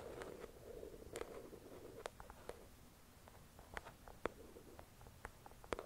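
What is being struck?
Paperback book cover.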